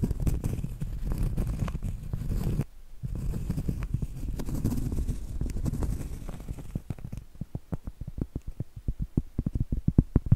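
Long acrylic nails scratch and tap the flat face of a round solid cork trivet. Dense, dull, low-heavy scratching fills the first half, broken by a brief quiet gap near 2.6 seconds. It then gives way to a run of short, soft, clicky taps with almost no ring.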